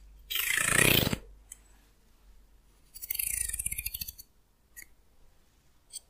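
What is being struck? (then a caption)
Wooden hair comb. Fingernails flick and scratch across the teeth of a solid, hand-sized wooden hair comb. A dense, bright rasping scrape is followed by a rapid ripple of clicky flicks over the teeth, then a few faint isolated ticks.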